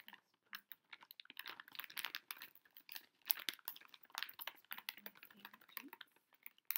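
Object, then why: Plastic foil snack bag. A large, flexible pink Pocky snack bag, a plastic foil pouch holding boxed biscuit packs, is held upright in both hands while fingertips and long nails tap and squeeze it. Quiet, bright, crackly crinkles come in quick, dense bursts of short clicks and rustles, with no low end.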